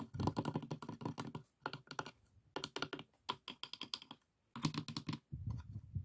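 Fingertips and nails tap rapidly on the dividers and walls of an open, empty, hollow light pine wooden box with three compartments and a metal latch. Quick bursts of dry, clicky taps with a low woody knock beneath them are separated by short silences. Each tap dies away almost instantly.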